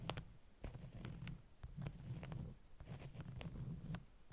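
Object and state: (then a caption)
Beeswax wrap stack. Long nails tap and scratch the top sheets of a stack of flat beeswax-coated cotton wraps. Soft, quiet taps with brief bright ticks sit over a low, dull scratching rustle that swells and fades in short bursts.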